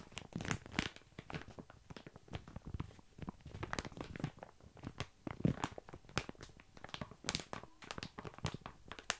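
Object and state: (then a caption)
Plastic bag of dry small pasta. Fingertips and nails scratch and squeeze a mid-sized sealed, crinkly plastic bag full of dry tiny pasta held near the mic, making the pasta shift inside. The result is a dense, steady stream of crisp crinkles, crunches and rattling bursts that snap off quickly, with some brighter peaks over a quiet background.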